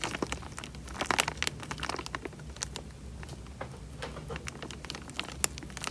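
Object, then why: Thin plastic bag filled with water. Fingertips squeeze and crinkle the thin film of a small clear plastic bag full of water, with bubbles moving inside. Dense, irregular crinkles and bright crackling ticks come in clusters over a faint low hum, with sharper pops standing out near the start and end.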